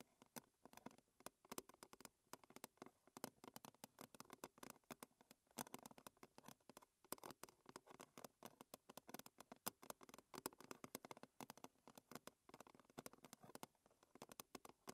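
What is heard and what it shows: A round, silver-blue metal tea tin lid, hollow and thin, is held upright and tapped and scratched with long red fingernails. Quick, quiet, hollow clicks patter in a steady, irregular stream with a low-mid tone and bright, crisp edges. Each tap dies away almost at once.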